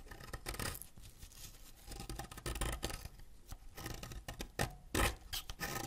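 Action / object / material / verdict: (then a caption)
scrape / wax crayon / wax / none. A solid green wax crayon held in the fingers is scraped with a white ceramic knife, letting green wax dust and curls fall onto a pile of shavings. The clip is a run of quick, dry, scratchy scraping strokes, with bright rasping bursts over a low, muffled rumble.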